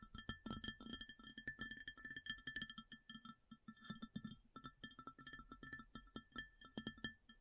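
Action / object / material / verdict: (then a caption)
tap / ceramic plate / ceramic / none. Long fingernails of both hands tap rapidly and continuously on an empty, large, round white ceramic plate. Each tap is a sharp click with a brief, high, bell-like ring. The tapping gives a busy, uneven patter that never fully stops.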